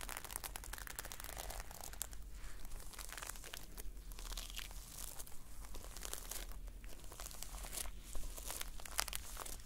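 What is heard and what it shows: Long painted nails scratch and brush across the red reversible sequin cover of a closed notebook, making a steady, dense crinkly scratching with quick bright clicks as the sequins flip. A constant low hum sits underneath the whole time.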